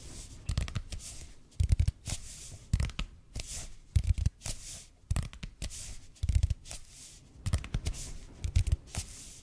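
A red and white speckled expanded polypropylene foam roller, about 30 cm long, is held in both hands while fingertips and nails tap and scratch its surface. Soft, dull low thumps come in slow clusters, each paired with bright, papery scratching bursts, with quiet gaps between them.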